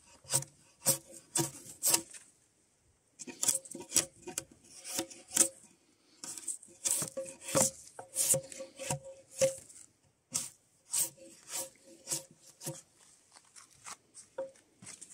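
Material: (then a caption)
Spruce wood. A steel draw knife held in gloved hands scrapes the surface of a solid, nearly fully debarked spruce softwood log, sending shavings flying off. Quick, bright, rasping strokes come in bursts separated by short pauses, each dying away almost at once with little low-end weight.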